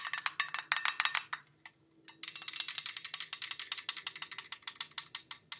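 Long nails rapidly tap and scratch along the ribbed side and rim of a hollow, pale-green ribbed metal Jean Paul Gaultier La Belle perfume tin, tilted and turned to show its shiny metal bottom. Dozens of bright, dry, high-pitched clicks with almost no ring come in quick bursts, with a short pause around the two-second mark before the tapping resumes.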